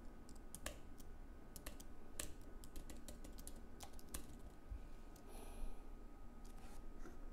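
Both hands type continuously with their fingertips on a slim white Apple Magic Keyboard, which has plastic keycaps on an aluminium base and lies on a wooden desk. Quiet, short, bright key clicks tap in an uneven stream over a steady low hum and a faint constant tone.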